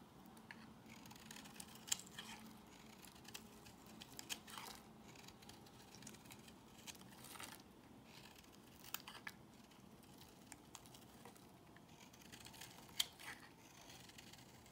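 A solid, peach-colored rectangular bar of soap is held in the hand and shaved with a box cutter blade. Quiet, bright, crisp scraping and crumbly cutting strokes continue throughout, punctuated by occasional sharper ticks as the blade bites and thin slivers come away.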